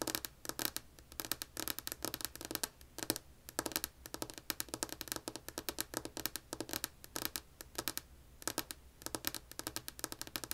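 Long acrylic-polished nails on both hands tap and scratch a flat, solid, light wood-grain tabletop beside a white earbud mic cable. The result is rapid bursts of crisp, bright clicks and scratchy rasps that die away almost instantly, separated by short pauses, over a faint low hum.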